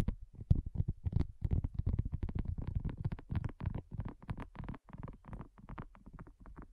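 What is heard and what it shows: Long nails tap quickly on a flat, round, pink dotted silicone coaster that is thin and solid. The result is a rapid, steady stream of soft, dull, low thuds with almost no ring. The tapping grows slightly quieter toward the end.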